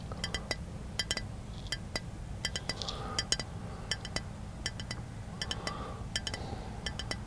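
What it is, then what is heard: Glass object. A glass object is tapped repeatedly in quick, irregular bursts, each tap a bright, short clink with high ringing tones that die away almost instantly. A steady low hum sits underneath, with faint softer scraping sounds between some of the taps.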